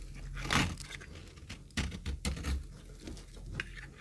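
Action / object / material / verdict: scrape / bar of soap / soap / none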